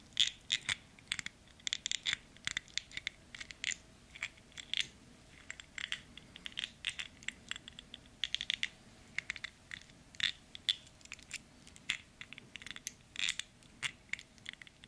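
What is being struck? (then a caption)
Stainless steel wristwatch with metal link bracelet. Fingertips tap and handle a medium-size men's dive-style two-tone stainless steel wristwatch, with a dark dial and gold-tone bezel on a steel-and-gold metal link bracelet, worn on a raised wrist. The sound is a steady, irregular stream of many sharp, bright clicks and light metallic ticks from the links and case, each dying away almost at once over a quiet background.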